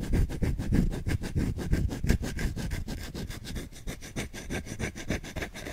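A solid wooden spoon, held in one hand, is scratched aggressively with short nails across the back and edge of its bowl. Fast, uneven strokes at about three to four per second make a dry, low-heavy rasp, with a faint bright edge on each short scrape. The scratching eases slightly in loudness toward the end.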